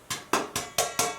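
Five taps on the bottom of a steel boiler expansion tank, the air side of the diaphragm where there should be no water, each giving a short, hollow metallic ring that fades quickly. The hollow sound means this part of the tank holds air as it should, a sign of a good tank.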